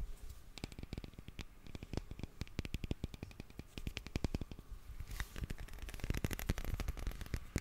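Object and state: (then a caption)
Glass perfume bottle with metal cap. A small black glass perfume bottle with a gold cap is tapped and scratched with fingernails. Quick, dry clicks come in an uneven stream with a soft low thud under each tap and bright ticks on top. Near the end, the tapping gets denser and louder with a scratchy hiss.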